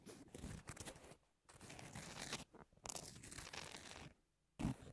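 Long natural nails scratch and tap the gritty surface of a flat pink double-sided emery board, about 18 cm long, with abrasive grit over a thin foam or card core, lying on a textured white cloth. Bursts of dry, crunchy, bright scratching run broadband and break off into brief near-silent pauses. A louder, sharper scrape or tap lands near the end.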